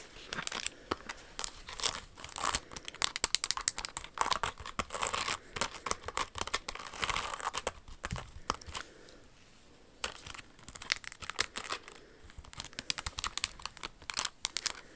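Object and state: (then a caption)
Rhinestone-covered high-heel shoe. A hand-sized, hollow Jimmy Choo silver high-heel pump covered in crystal rhinestones, with a glass-crystal flower on the toe, is held in the hands and tapped and scratched with long acrylic nails. Dense, bright clicks and crisp crinkling scratches follow in rapid bursts, each dying away almost instantly. There is a brief quieter lull near the middle.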